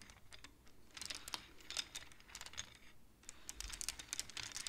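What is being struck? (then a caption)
Wooden abacus with wooden beads. Both hands push and tap the painted wooden beads of a wooden abacus with long nails, clacking the beads together. It sounds like a quiet, irregular stream of short, bright clicks and rattles with very little low end.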